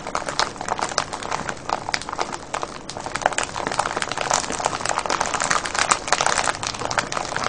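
Fingertips and nails scratch and crinkle a clear cellophane bag full of foil-wrapped candies. A dense, continuous stream of sharp, bright crackles and rustles runs throughout with almost no low end, growing slightly louder toward the end.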